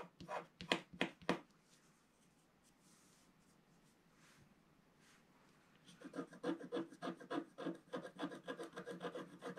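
A wooden stylus scratches the black coating away from a spiral area on a flat scratch-art page of gold foil paper, in short strokes while the other hand holds the page. Four dry, raspy scratches come first, followed by a near-silent pause of about four seconds. Then a faster run of short scratching strokes continues to the end.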